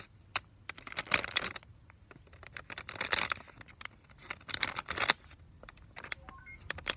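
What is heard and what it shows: Fingertips press, rub and lightly scratch across a flat, mostly empty paper and plastic film sterile peel pouch for Vaseline gauze, about 25 cm long, flexing it to crinkle. The result is bright, crackling crinkle bursts and sharp little clicks separated by quiet pauses, with a few faint short tones near the end.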